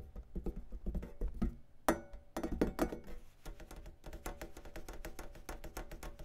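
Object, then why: Metal rack compressor unit. Fingertips tap rapidly on the black metal top lid of a long rack-mount audio compressor with a silver front panel and knobs, lying on a cloth. The taps are soft, dull thunks with a short ring and a faint metallic tone, with a few sharper, louder taps near the two-second mark.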